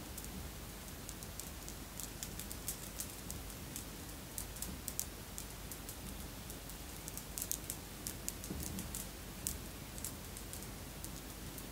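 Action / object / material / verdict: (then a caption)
shake / glass bead necklace with metal links / glass / none. A long necklace of red and clear beads, apparently glass, with metal links, is held hanging and handled with the fingers so the strands clink together. Quiet, scattered, bright little clicks and ticks sound over a steady low hum.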